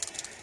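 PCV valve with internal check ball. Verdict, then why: Rattling. A brand-new PCV valve is shaken, giving quick, light, high-pitched clicks as the small ball moves freely inside. The rattle is normal for a new valve.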